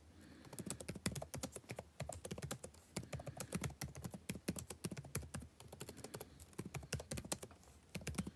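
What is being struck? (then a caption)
Plastic chiclet laptop keyboard. Both hands type with their fingertips on the plastic chiclet keys of a backlit laptop keyboard set in a dark laptop body, with short nails tapping the keys. A quick, steady stream of dozens of soft, short clicks and taps sounds, each with a dull low thud under a bright click edge and almost no ring. Brief pauses break the typing into uneven bursts.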